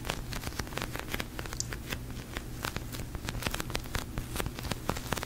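A large pink, glossy, sticky polyurethane foam squishy toy is held, tapped with fingertips and long nails, and squeezed. Rapid, dry, crackling taps and sticky clicks patter over a low, steady rumble, each hit short and bright with almost no ring.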